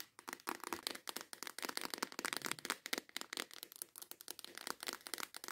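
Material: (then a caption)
Plastic. Long acrylic nails tap rapidly and intensely on the lid and sides of a clear plastic compartment organizer box full of nail tips. The result is a dense run of sharp, dry, bright clicks and crinkly rattles with almost no low end and no ringing after each tap.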